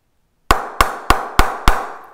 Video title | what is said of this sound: 2017 GRAY-NICOLLS SIGNATURE CRICKET BAT REVIEW | I am really high on the cricet butt now um and it's already pinging